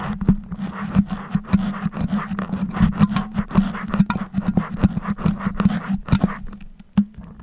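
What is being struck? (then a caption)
Metal pins in a foam microphone windscreen. Fingers with long painted nails pull and wiggle colored-head metal sewing pins stuck in a solid, soft red foam microphone windscreen, scraping and rubbing them against the mic. Close, dry scratching and rustling rides over a steady low hum, broken by many sharp, quick clicks and scrapes of varying loudness.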